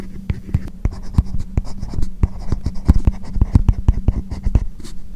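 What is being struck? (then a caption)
Plastic stylus on matte plastic film over a tablet screen. A hard plastic stylus tip writes Chinese characters on a matte, paper-like plastic screen protector covering a tablet. It makes dense, short scratching strokes. Each stroke is a quick, dry tick, and low thuds run under a steady, soft scratchy texture.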